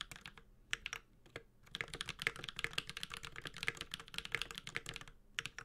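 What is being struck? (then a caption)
Mechanical keyboard with aluminum case and plastic keycaps. A Space65 Cybervoyager 65% mechanical keyboard, with a white-gold aluminum case, plastic keycaps, a carbon fiber plate and tactile Holy Panda switches, is typed on steadily with the fingertips of both hands. Bright, short, clacky keystrokes come in rapid runs with brief pauses, each tap dying away almost instantly over a faint low thock.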